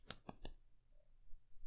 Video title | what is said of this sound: Sofirn SP33S 26650 Extreme High Output Flashlight Review | not normally if i just shake it but if you tap it you can hear it